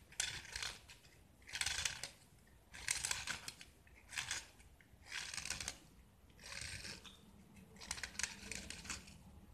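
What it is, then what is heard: Gypsum block being scraped. A small, solid white gypsum block with a blue-and-yellow painted surface is held in the hand and shaved with a metal utility knife blade, peeling off curls of plaster. Seven separate dry, bright scraping strokes are heard, each a gritty rasp lasting under a second, with brief quiet gaps between them.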